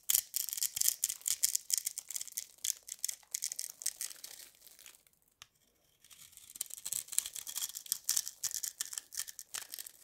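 A small blade scrapes and crushes a hand-sized solid turquoise bar of dry soap with starch, held in one hand over soap shavings. Dense, bright, crackly scraping and crumbling bursts fill the clip. They fall almost silent for about a second around the middle, then resume.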